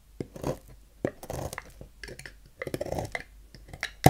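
A dark knife blade cuts and scrapes the corner of a solid rectangular lilac bar of soap on a table, carving it into shavings. Short, dry crunching cuts alternate with softer, muffled scraping, mostly low and dull with little brightness. A sharp final cut ends the clip.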